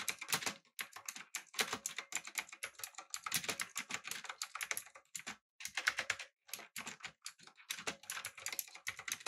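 Fingertips type on a backlit, typewriter-style mechanical keyboard with round plastic keycaps. The result is a steady run of bright, crisp clicks and clacks that die away almost instantly, coming in quick bursts with brief pauses between them.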